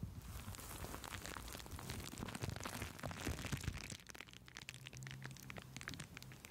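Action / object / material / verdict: scrape / plastic bubble wrap / plastic / none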